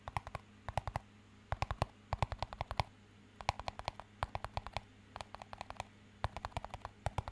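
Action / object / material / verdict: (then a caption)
tap / small plastic cup / plastic / none. A small, empty, hollow clear plastic cup is tapped and scratched with fingertips and nails. Quick bursts of light, hollow clicks with a tonal ring around 800 Hz come in clusters with short pauses between them, each tap dying away almost instantly. A faint, steady low hum sits underneath.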